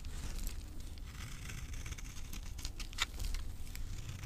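A solid, dry green avocado soap bar held in the palm is scraped across its surface and edges by a knife blade, shedding crumbly powder. Soft, dry scraping and crinkly crumbling sounds run over a low, steady rumble, with brief bright scratches standing out.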